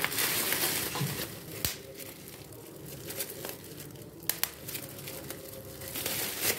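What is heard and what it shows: A large sheet of clear plastic bubble wrap with air-filled bubbles is held in both hands, squeezed and popped with the fingertips, and crumpled. Steady bright crinkling runs throughout, broken by sharp, short pops that stand out from the rustle.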